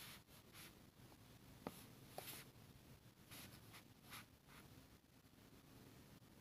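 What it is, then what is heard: Paper scratched with a metal pen nib. A metal fountain pen nib scratches across a flat, thin sheet of grid paper on a table in repeated hatching strokes over a dark inked area, while a red plastic contact lens case nearby stays untouched. Soft, bright, papery scratching bursts come in an uneven rhythm, with a couple of sharper ticks from the nib, all at a quiet level.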